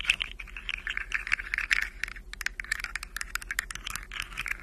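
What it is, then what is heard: Plastic articulated fidget slug toy. Long nails scratch and tap along a rainbow plastic articulated fidget slug toy, its hollow jointed segments rattling and clicking. A quick, dense run of short, dry, bright clicks and scratchy rustles continues throughout, with almost no low end.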